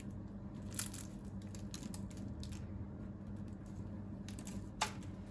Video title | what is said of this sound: ✨İFTAR SOFRALARINIZA YAKIŞACAK 10 ÇEŞİT TARİF🌿 - 10 kişilik Misafir Menüsü🌙 #ramazanmenüsü | Siz de bu tarifle bu sesi duyabileceğiniz çıtır çıtır börekler hazırlayabilirsiniz